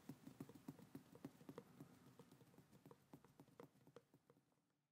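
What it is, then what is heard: Paper Bible pages. Long acrylic nails on both hands tap and patter across the thin paper pages of a large, thick hardcover Bible lying open on a table, its pages a solid stack. About sixteen soft, dull, quiet taps fall in an uneven quick rhythm, each dying away almost instantly. The sound is low-pitched papery clicking that grows fainter toward the end.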